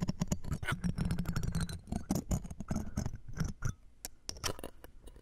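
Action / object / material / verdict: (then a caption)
scrape / metal mesh microphone grille scraped with metal tweezers and a pick / metal mesh / none. A metal mesh microphone grille, set inside a jeweled earring frame, is scraped and poked with metal tweezers and a pick. Dense, rapid clicks and scratches overlap with a low, boomy rumble through the mesh, thinning into sparser, isolated ticks toward the end.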